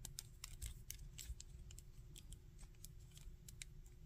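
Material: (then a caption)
Plastic. A small, hard-plastic, articulated Spider-Man action figure is held in both hands while fingertips bend and rotate its arm and shoulder joints, producing a steady run of short, bright, ratcheting clicks. Beneath the quiet clicking sits a low rumble and a faint steady hum.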